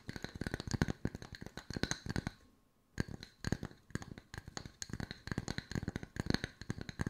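Long white nails tap rapidly on two solid round wood-slice coasters at varied angles, producing quick, dry clicking taps with a low woody thump and a bright edge that stop almost instantly. The tapping runs in dense bursts, breaks for a brief silence near the middle, then resumes at the same busy pace.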